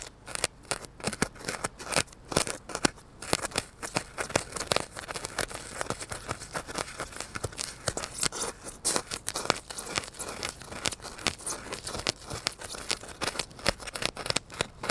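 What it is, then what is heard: Styrofoam block. A solid, lightweight, hand-held rectangular block of white polystyrene foam, held right next to a furry microphone, is pierced, poked and scratched with a needle and fingertips. A rapid, uneven stream of dry, crunchy squeaks and scratchy crackles fills the whole clip, bright and close with almost no ring.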